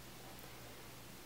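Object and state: Nothing is struck.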